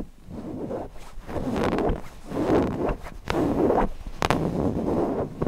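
Fingernails scratch over the fabric and along the seam of a stuffed cotton owl cushion, first on the front side and then on the back. The result is a run of soft, dry, rasping scratches with a low-mid body, rising and falling in short uneven strokes, plus a few brief sharper clicks.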